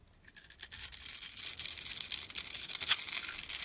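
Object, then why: Bar of soap scraped with a metal blade. A metal utility-knife blade scrapes and carves curled shavings off a palm-sized solid dark brown-black bar of soap held in the hand. The sound is a dry, bright, rapid scratching that begins as faint, separate scrapes and builds into a louder, steady crisp rasp with almost no low end.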